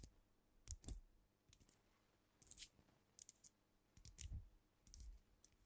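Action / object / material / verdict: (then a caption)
tap / glass liquor bottle, filled / glass / none. Long nails tap on a filled glass cognac bottle held bottom-up close to the microphone, first on the cap end and then on the glass body. The result is quiet, quick, bright clicks with short dull knocks beneath, arriving in small irregular clusters and dying away almost at once.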